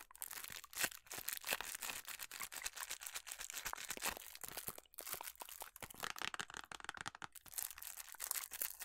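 A small printed paperboard box of Club House food colour is held up, then tapped and scratched with long nails. The result is a quiet, dense run of bright, dry scratches and crisp taps with almost no low end.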